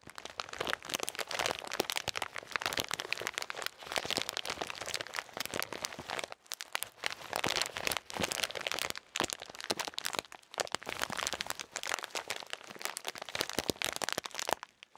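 A blue plastic bag full of salted peanuts is squeezed and crinkled with fingertips with painted nails. The result is dense, bright crinkling and crackling with almost no low end, broken by brief pauses around 6.5 and 10 seconds.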